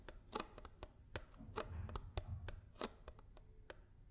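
A paper almond milk carton is tapped with fingers and nails, giving quick, dry, hollow taps with short bright clicks over a low thumping body. Sixteen distinct taps are heard, some bunched into fast double strokes, each dying away almost instantly.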